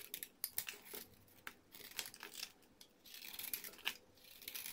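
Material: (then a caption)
Soap. A solid orange bar soap, held between fingers with red-painted nails, is scraped with a metal blade, shaving off flakes and powder. The sound is a quiet series of short, dry, crinkly scrapes and crisp little cracks, almost all high and bright with no low end. Each stroke stops abruptly without any ring.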